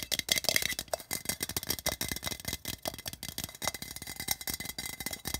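A hollow, patterned printed metal tin resting on carpet is tapped and scratched on its sides by both hands, using fingertips and nails. Some thirty quick, dry taps come in fast bursts, mixed with brittle scratching. The sound is bright and tinny with a faint metallic tone near 2.1 kHz and almost no ring after each hit.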